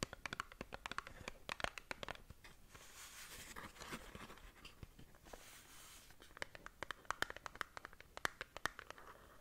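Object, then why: Small cardboard box. Long nails scratch and tap a small, hollow, printed cardboard skincare box, making quick, dry, bright clicks in dense bursts at the start and end. In the middle, the nails drag across the surface in a softer, continuous scratching hiss. The sound is quiet and close, with no ringing after each tap.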